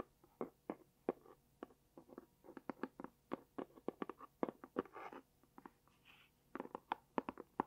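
Long painted nails tap and scratch a small pink dotted cardboard gift box with a label, which looks hollow and is turned flat and upright in the hands. About thirty short, dry, hollow taps with a mid-range knock come in quick uneven bursts. Soft, brighter scratching rustles fill a pause midway, and the taps stop almost at once with no ring.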